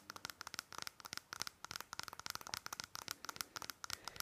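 Long fingernails rapidly tap and scratch the sides of a small, hollow white plastic nasal spray bottle with a green label and a nozzle cap. The result is a quick, uneven string of sharp, bright clicks and crinkly scratches with almost no low end. Each hit dies away instantly against a soft, quiet background.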